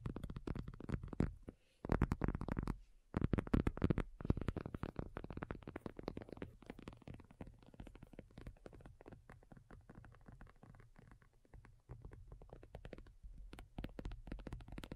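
A black folding faux leather iPad cover, lying flat and thin with a hollow back, is tapped with long nails by both hands. The result is a fast, uneven flurry of short, dull, low-heavy taps that ring only briefly, with brief pauses near the start before the tapping settles into a softer, steady patter.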